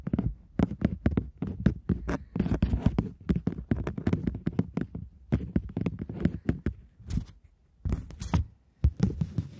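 A polymer £20 banknote, back side showing, is held in both hands while long nails scratch and tap its plastic surface and the note is crinkled and flexed. Rapid, short, dry clicks and crackles dominate, mostly low and thumpy with brief bright crinkling edges. Small pauses separate bursts of tapping and rustling.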